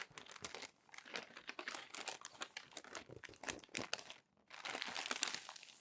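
A hand turns and flattens the crinkly pages of a crumpled glossy paper magazine. Dense, bright crinkling and crackling runs throughout in quick, sharp bursts with almost no low end. A brief quiet pause comes near the end before a louder stretch of crinkling resumes.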